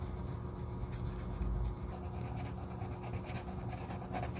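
A small piece of sandpaper is rubbed back and forth along the rubber outsole edge at the toe of a solid black leather Gucci loafer, held in black-gloved hands. It makes a steady, low, dense scraping rasp with faint repeated bright strokes throughout.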